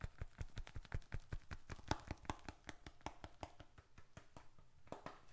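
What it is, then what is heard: Leather wallet. Fingertips tap the flat face and edges of a small, handheld, closed bifold wallet of reddish-brown leather with paper bills and receipts inside. About two dozen short, dull, low thumps come at a quick, uneven pace, each dying away almost at once, and grow slightly softer toward the end.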